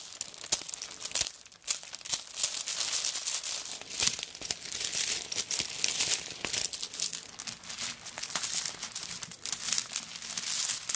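Long nails scratch over a handbag made of many small coconut shell pieces lying on a tablecloth, then fingertips and nails scrape flat across its surface. The result is a dense, bright, crinkly scratching with rapid dry clicks and almost no low end.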